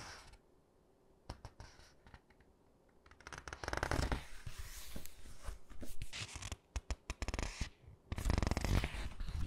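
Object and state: Glossy paper hardcover book.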